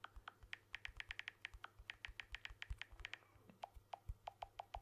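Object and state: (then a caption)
Smartphone with glass back and metal frame, tapped by fingertips. Fingertips tap the back and edge of a blue smartphone with a glass back and aluminium frame, held in one hand. About 29 short, crisp taps come in a quick, uneven rhythm: bright clicky ones first, then duller, lower-pitched ones near the end. Each tap dies away at once over a faint low rumble.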